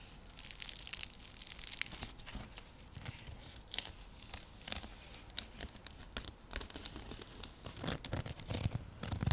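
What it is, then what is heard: Woven seagrass coaster being scratched. Long nails scratch across a round, flat, coiled woven seagrass (straw) coaster or trivet. The result is a steady run of dry, crackly rasps and brushing strokes with bright, papery texture and soft, short bursts over a low rumble.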